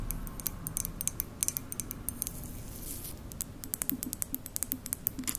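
A hollow white ceramic mug with a lid is tapped on its side with long nails, making a quick series of sharp, bright clicks over a low background rumble. The clicks cluster at the start, thin out in the middle, and pick up again toward the end as the nails lift off.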